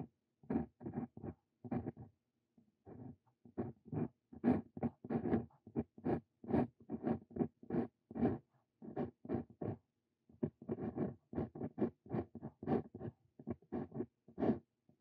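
A Brause Cito Fein steel dip pen nib writes across a sheet of lined paper, making short, dry scratching strokes. The strokes come in quick bursts, with brief pauses near the start and around the middle.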